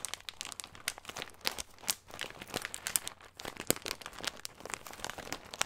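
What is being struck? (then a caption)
Thin plastic bag filled with nuts. Fingertips crinkle and squeeze a small, clear, thin plastic bag with a green label, full of nuts. Dense, crisp crackles and crunches follow one another rapidly with little pause, bright and mostly high with almost no low end. Each snap stops almost at once, and the texture stays busy and dry throughout.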